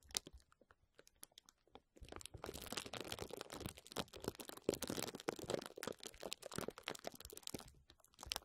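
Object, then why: Plastic bubble wrap. Clear plastic bubble wrap draped over a microphone is scratched and squeezed with fingertips and nails. Scattered sharp crinkles for the first two seconds give way to a dense, bright stream of crackling and crunching. The clip ends with a few more isolated crackles.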